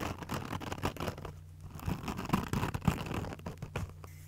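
Long nails scratch the green abrasive scouring side of a foam kitchen sponge held in both hands. Quick, soft scratchy rasps come in an uneven rhythm over a steady low hum, with a few louder scrapes near the end.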